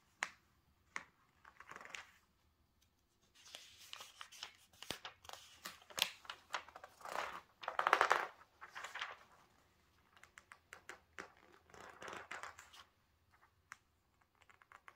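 An open glossy paper magazine lies flat on a table as fingertips flip its pages and the palm and fingers rub each spread flat. The clip holds crisp, crinkling swishes and bright rustling bursts, separated by quiet gaps and sharp little paper ticks. The loudest swoosh comes about halfway through.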